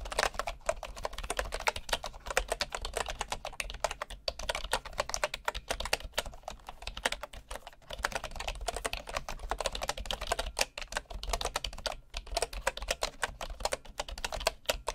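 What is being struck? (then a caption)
Bamboo wooden keyboard. Fingertips type steadily on a bamboo wooden keyboard with wooden keys, producing a fast, continuous stream of short, dry clicks and taps. The clatter is mid-pitched with some bright edge and little ring, over a faint low hum.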